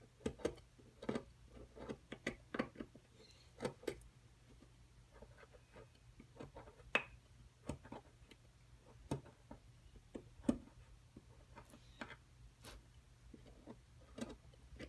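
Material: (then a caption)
Plaster. A wooden-handled metal chisel scrapes and picks at a solid plaster block from a dinosaur nest excavation kit. Short, dry scratches and clicks come in irregular bursts, some reaching bright tones, over a quiet, steady low hum.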